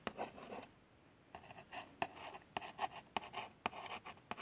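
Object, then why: Small printed cardboard box. A long fingernail traces over the printed text and plaster picture on a small, hollow cardboard box of plasters. Soft, papery scratching strokes alternate with brief pauses, broken up by sharp little ticks as the nail catches the card. The sound is quiet and centered in the midrange, with almost no low end.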